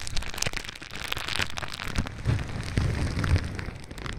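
A sheet of clear plastic bubble wrap, held against the other side of a microphone, is crinkled and rubbed with fingertips. It gives a dense, irregular crackle with bright, sharp ticks over heavy low rumbling thumps. The handling noise continues unevenly, swelling in louder bursts toward the end.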